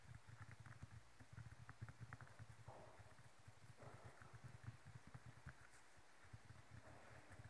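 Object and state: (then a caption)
Felt tennis ball. Long nails scratch and rub around a yellow felt-covered tennis ball of hollow rubber resting on a table. The sound is a quiet, dense run of soft, muffled scrapes and light ticks, dull and low with little brightness.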